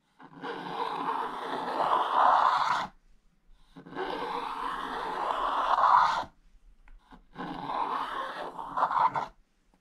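A wooden stylus scratches the black coating off a thin, flat scratch-art page in an open activity book lying on a table, revealing neon green underneath while the other hand holds the book flat. Three long, rasping scrape strokes are heard, each lasting about two to three seconds, separated by short pauses. The scraping is centered in the midrange around 1 kHz and has faint high hiss.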